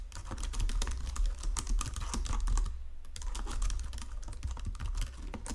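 Fingertips and nails type on a white plastic Logitech keyboard resting on marble, producing a rapid stream of bright, crisp key clicks and taps over a steady low hum. The typing stops briefly around the three-second mark, then resumes.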